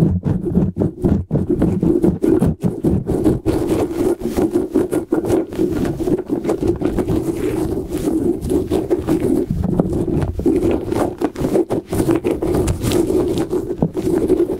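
A hand-sized soft rubber light-up squishy puffer ball, with rubbery tentacles and an LED inside, is held close over a microphone while fingertips and short nails tap, scratch and rub its surface and tentacles. Dense soft rubbery taps and squeaky scratching rubs sit mostly in the low-mid range around 200–400 Hz, with quick, dry sounds that barely ring. They continue steadily for the whole clip.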